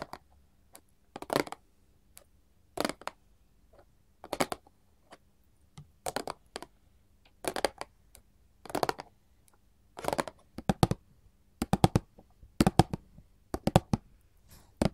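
Gold metal filigree claw nails tap a small printed paperboard chocolate box resting on a table. Quick, dry, papery clicks come in short clustered bursts about every second and a half, growing denser and louder toward the end. Each tap dies almost instantly over a faint steady low hum.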